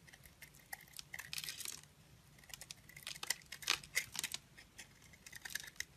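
A utility knife shaves curls from a solid oval pink bar soap with glittery heart prints and a lilac interior, held in the hand. Quiet, bright, uneven scraping and crisp crackling cuts repeat quickly with short dry bursts, with no ring after each stroke.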